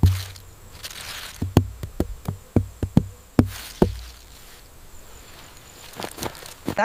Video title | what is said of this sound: Amazing Yellow Watermelon Farming & Industrial Processing You’ve Never Seen | Let me tap it. Yes, it's ready for sure.